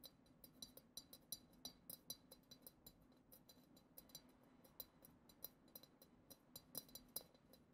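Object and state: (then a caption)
Glass goblet tapped with fingernails. Long acrylic nails tap rapidly and irregularly on the lower bowl of a hollow, clear glass goblet decorated with glitter swirls. Each tap makes a quiet, bright, clicky clink that dies away almost instantly, over a soft low background hum.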